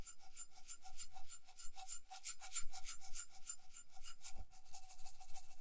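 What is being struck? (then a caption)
Small metal cup covered in glued beads. Long nails rub and scratch over a small hollow cup with a metal base, covered in glued colourful round beads and held in one hand. A steady run of quick, bright, raspy scratching strokes sounds over a faint, even ring.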